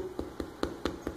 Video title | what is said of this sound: Pão preguiçoso | Vocês podem ouvir o barulho de oco, né? Ele ficou bem assado.